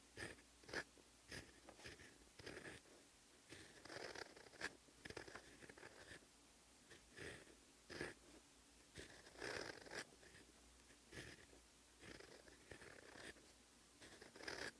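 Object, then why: Metal pen nib on paper notebook page. A fine gold metal fountain pen nib held in fingers scratches across a flat sheet of lined cream paper in a notebook, resting on a surface, while writing Korean letters. Close, dry scratching strokes come in short bursts separated by brief pauses, with a bright edge to each stroke.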